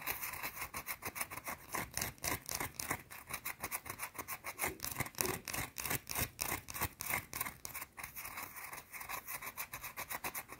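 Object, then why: Solid bar of soap. Long blue nails scratch quickly and hard across a small, round, solid white soap bar. The result is a rapid, uneven run of bright, raspy scrapes, each short and dry with almost no ring.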